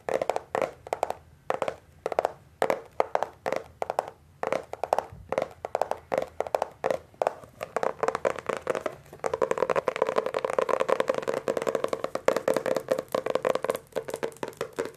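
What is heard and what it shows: Fingertips tap the glossy laminated paperboard cover of a solid Hardy Boys hardcover book held edge-on, giving quick, dry, hollow-toned taps in irregular bursts. After about nine seconds the book is moved around, and the taps blur into a denser stream of clicking and rubbing with a steady midrange tone.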